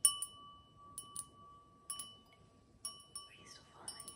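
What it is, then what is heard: Crystal wine glass. Long acrylic nails tap an empty, stemmed cut-crystal wine glass with a diamond pattern, held in hand, in a series of quick, bright clicks. Each tap leaves a steady, sustained glassy ring around 1.1 kHz with a fainter overtone near 3 kHz. A brief soft swishing sound passes near the end.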